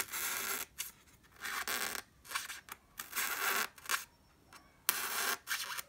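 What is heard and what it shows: A sharp wooden pencil tip pokes into a white solid styrofoam block near its edge, gradually moving toward the block's top. Irregular bursts of dry, scratchy squeaking and creaking are heard, bright and high with no low end, separated by short quiet gaps.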